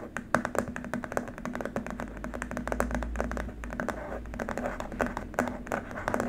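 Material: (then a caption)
Plastic. Both hands tap quickly with fingertips and short nails on a long, flat white plastic keyboard wrist rest lying on a dark mat. The taps are short, dry, hollow clicks with almost no ring, arriving in rapid, uneven bursts over a faint low hum and a steady low tone.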